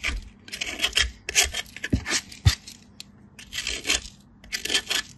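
A solid white bar of soap, held in a hand with blue nails, is rubbed across a small steel grater, leaving a powdery pile of shavings. Bright, gritty scraping strokes come in repeated bursts with short pauses between them, and a couple of soft low thumps mark where the bar meets the grater.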